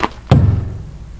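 A pry bar taps a truck's steering tire twice during a pre-trip inspection: a short, brighter click, then a firm, low thud around 140 Hz that fades quickly. The tap sounds firm rather than hollow, so the tire is properly inflated and not low on air.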